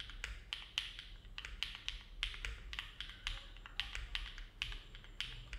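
Both hands' fingertips type continuously on a compact Neo70 mechanical keyboard with an aluminum plate, foam dampening and dark GMK plastic keycaps, resting on a desk mat. Each keystroke is a short, bright clack with a slight pitched ring near 2.8 kHz that fades in under a tenth of a second. The strokes come in an unhurried, uneven rhythm over a faint low hum.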